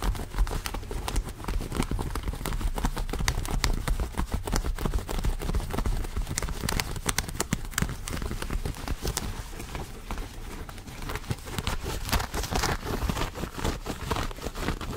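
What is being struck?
Denim jeans.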